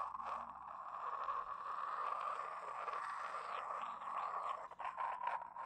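A small, hollow, empty double egg cup of white glazed porcelain, held in both hands, is rubbed and scratched with long painted nails and fingertips. The result is a steady, dry scraping hiss centred around 1 kHz, with sweeping brighter strokes on top and a brief drop in level near the end.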